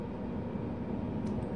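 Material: Nothing is struck.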